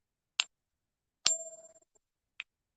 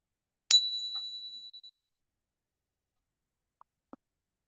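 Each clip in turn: First: copper-nickel coin, high-pitched ping. Second: genuine 90% silver coin.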